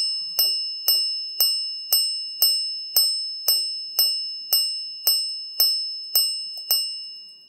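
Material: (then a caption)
Sapphire. A Chopard Full Strike minute repeater watch chimes as its hammers strike sapphire gongs made in one piece with the watch crystal, with no glue and no screws. Thirteen evenly spaced, bright, bell-like strikes each ring out briefly over a steady high tone. The sound is crystal-clear and exceptional, carrying far.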